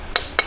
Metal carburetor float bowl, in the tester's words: hit it till you hear that hollow sound. When you hear that hollow sound, once again, it means it's broken the seal.